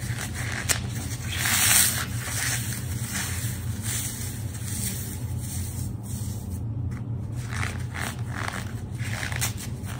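A small, dry block of porous, solid phenolic floral foam, white-cream with a green outer face, is crushed and squeezed between bare fingertips with long dark nails over a wooden board covered in crumbled green foam. It makes a continuous crunchy, crumbling crackle with bright, high-pitched grit above a steady low rumble.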